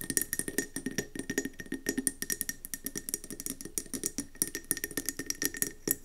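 Long nails rapidly tap and scratch a round, gold-speckled mercury glass candle jar with a metallic gold rim and gold lid, filled with yellow wax and standing on a table. The result is a quick, steady stream of crisp, bright glassy clicks with short scratchy swipes between them, each tap dying away almost at once.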